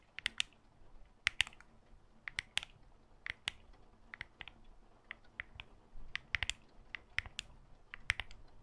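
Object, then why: Glass and metal smartphone. Long fake nails on black-gloved fingers tap the glass front and back and the metal frame of a solid smartphone held in the hand close to the mic. The quick, irregular taps come as sharp, bright clicks that stop dead with no ring, over a quiet background hiss.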